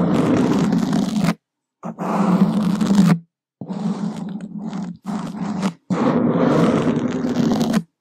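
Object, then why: Open-cell foam microphone windscreen scratched with wooden sticks. Two wooden skewers scratch a black open-cell foam microphone windscreen from below, making five bursts of dense, rough scraping separated by short silences. The sound is a low, rumbling rustle centered around 200 Hz, with a rasping, crackly texture and little high-end content.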